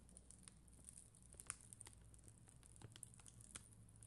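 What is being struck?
Acrylic rhinestone sticker sheet.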